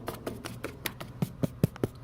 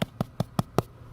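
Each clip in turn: First: clear gutter downspout, hollow. Second: Debris-clogged gutter downspout, dull.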